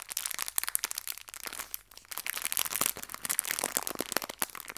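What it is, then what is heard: Plastic bag of hair ties. A small clear plastic bag full of fabric hair ties is squeezed and crinkled with fingertips and long red nails. Dense, bright crackling and crinkling pops come in quick, sharp bursts with almost no low end. A brief quieter gap comes near the middle before the crinkling picks up again.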